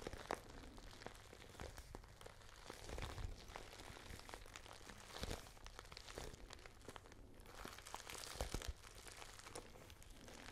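A small pale pink glossy patent faux leather handbag is scratched and tapped with long nails. Soft, dry scratching and crinkly rustling run throughout, broken by many sharp little taps and brief louder scrapes. Some taps stand out around 0.3, 3, 5.2 and 8.5 seconds.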